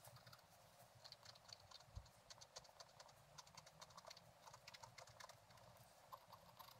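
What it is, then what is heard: Scratch-art paper page. A thin wooden stylus scratches the right side of a black-coated scratch-art page with a gold underlayer, lying flat in a book. Quick, dry, bright scratching strokes follow one another in a steady, quiet stream over a soft low rumble.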